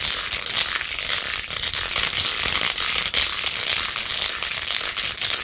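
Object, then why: Plastic phone case with plastic beads. Long nails rapidly scratch the pink faux-pearl beads on a rose-gold plastic phone case held in one hand. The result is a steady, dense, bright crackling scrape with almost no low end that continues without pause throughout.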